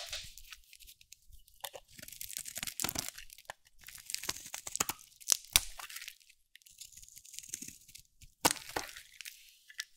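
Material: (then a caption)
Soap. A solid, round, dry cream soap bar held in the hand is cut and shaved with a metal utility blade. The result is a series of dry, bright cracking and crunchy scraping bursts with short quiet gaps and a few sharper snaps.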